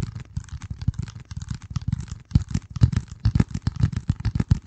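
Fingertips tap and scratch a flat, hand-sized piece of dark corrugated cardboard, its corrugated edge visible, held close to the microphone. The result is a dense, irregular run of soft, muffled thumps with a low, boomy weight, mixed with faint dry scratchy rustle. Each tap dies away almost instantly.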